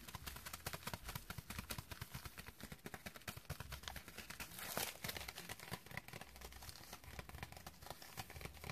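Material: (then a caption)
Plastic. A white plastic padded bubble mailer with a shipping label, hollow and lightweight and apparently holding a small item, is held in the hands and tapped and scratched across its surface with long dark-painted nails. Quick, dense taps mix with crinkly, bright scratching and soft low thumps, with a louder rustling burst just before the five-second mark.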